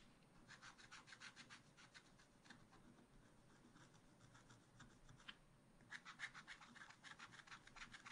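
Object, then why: Coated scratch art paper scratched with a wooden stylus. A wooden stylus held in the fingers scratches lines through the black coating of a thin, solid scratch art card in a spiral-bound pad lying flat on a table. Quick, dry, bright scratching strokes repeat in an uneven rhythm, quieten briefly around the middle, then return slightly louder to the end.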